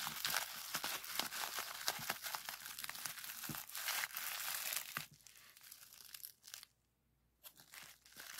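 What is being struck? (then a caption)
Plastic bubble wrap. A roll of clear plastic bubble wrap, twisted into a small tube of hollow bubbles, is squeezed and twisted by hand to pop the bubbles. Dense, bright crackling pops and crinkles fill the first five seconds. The sound then drops to softer crinkling, falls nearly silent for a moment, and resumes with a few more crackles.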